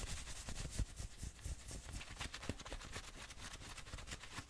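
Fingertips and nails scratch fast over the chest and sleeve fabric of a worn grey and maroon fleece hoodie with a printed logo. The result is a dense, continuous run of quick rough scrapes, with bright fabric hiss over soft low thuds.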